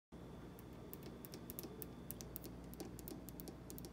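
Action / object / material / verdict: tap / polished granite countertop tapped with fingernails / granite / none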